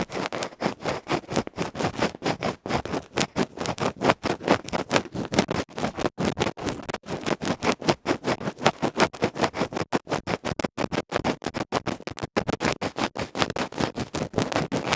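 A bamboo ear pick scratches vigorously across the black felt face of a small, hollow aluminium electret microphone capsule from an earphone mic, with its cover removed, held in the fingertips. The result is a continuous run of rapid, harsh, broadband scraping strokes, each short and dry with almost no ring. The strokes come in tight bursts for the full fifteen seconds.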